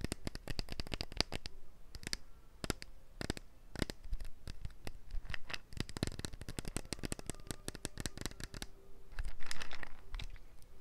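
A small amber glass bottle with a yellow and black plastic cap, apparently filled, is tapped and scratched with long nails. Rapid, irregular clicking taps mix with scratchy rasps, and a louder burst of scratching comes near the end.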